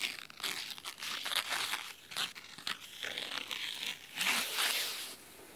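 Fingernails scratch the red cloth spine of a large, thick, solid red fabric-covered hardcover book. The scratching is a crisp, dry, bright rasp in uneven bursts and strokes, with almost no low end. It ends in a brief quieter stretch.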